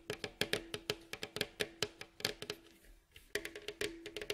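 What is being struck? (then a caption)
Wooden staved mandolin bowl back. Fingertips and nails of both hands tap quickly across the glossy, hollow, striped, varnished wooden staved bowl back of a face-down mandolin. About two dozen short, dry, bright clicks ring over a steady resonant tone near 420 Hz. There is a brief quiet pause just after the three-second mark before the rapid tapping resumes.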